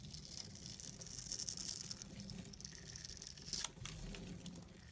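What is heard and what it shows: A solid purple soap bar held in the fingers has its cross-hatched surface shaved with a small red-handled blade, the cuts flaking off small pieces of soap. A steady, bright, crisp scraping and crinkling runs throughout, with a sharper crunch near the end.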